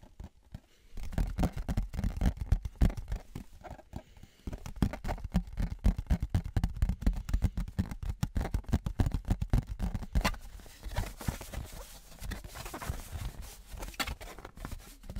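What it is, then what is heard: Metal souvenir license plate. Fingertips and nails tap and scratch a thin embossed metal souvenir license plate, first held flat and then tilted. The result is a dense, irregular run of quick, dull, low taps that pauses briefly around four seconds and then resumes. In the later part, brighter scratching hiss mixes in with the tapping.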